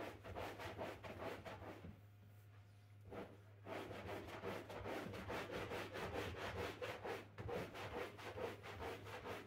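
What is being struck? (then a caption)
Synthetic rug scrubbed with a stiff-bristle broom. A pink-handled stiff-bristle broom scrubs a wet, printed flat-pile synthetic rug thick with soap foam. The scrubbing is a rhythmic, bristly rub at about two strokes per second, with a quieter pause near the two-to-three-and-a-half second mark, over a steady low hum.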